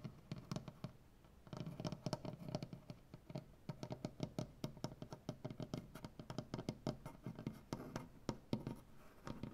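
Both hands with long nails scratch and tap across a large solid maple butcher block tabletop. Dense runs of quick, dry, low-pitched taps, each dying away almost at once, mix with soft scratching over a quiet, close background. A brief lull comes near the start.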